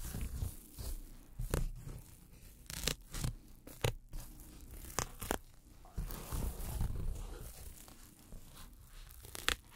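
Pink-handled tweezers pluck and tear at the edge of a round hole in a thin white polyethylene foam packing sheet. About a dozen short, sharp tearing snaps with bright crackle stand out over a soft, continuous scratching and low rustle. Each burst cuts off almost instantly.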